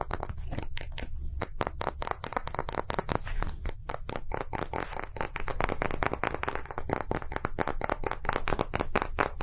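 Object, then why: Small hollow plastic capsule. A small hollow round plastic gacha capsule with green and translucent halves is held in the hand and tapped rapidly with fingertips and short nails. The result is a dense stream of quick, dry clicking taps with a hollow plastic ring and a bright edge, steady in level throughout.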